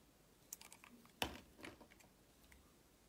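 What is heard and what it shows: A solid, rectangular blue and white striped bar of soap, held in the hand, has thin layers sliced off its surface with a box-cutter blade. Soft, crisp, bright scraping clicks come in a quick irregular series, with one sharper, louder cut near the middle. Each one dies away almost at once.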